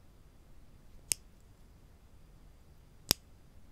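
A small solid-wood spring clothespin with a metal spring, held in one hand above a wooden table where other clothespins lie still, is pinched open by the fingertips and snapped shut. Two sharp, bright clicks about two seconds apart stand out against a quiet, low hiss, each dying away almost instantly.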